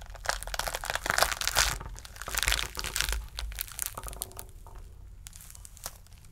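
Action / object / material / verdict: scrape / whole pomegranate rind / fruit rind / none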